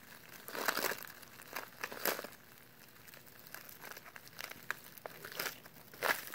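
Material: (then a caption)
Paper. A small, flat brown kraft paper meal pouch with green printed directions is held and crinkled between latex-gloved fingertips. It gives quiet, dry crinkling and crackling bursts that are bright and papery, with almost no low end, and each crackle dies away almost at once.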